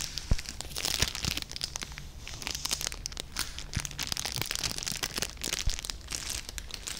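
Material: Cellophane.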